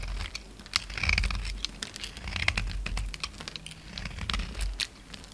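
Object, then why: Solid bar of soap cut with a knife blade. A palm-sized solid white bar of soap held in the hand is carved and scraped with a utility knife blade, making chunks and flakes crumble off. Dry, crisp scraping and crumbling clicks come in irregular bursts with sharp bright transients and a soft low rumble underneath.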